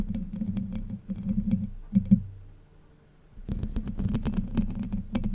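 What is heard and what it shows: Long white nails scratch and grip the hollow domed steel mesh grille of a Blue Yeti microphone, producing dense, close scratchy rustling and quick taps over a low, boomy body. The scratching swells with a couple of sharper grips near two seconds, fades to near silence for about a second, then resumes just as busy to the end.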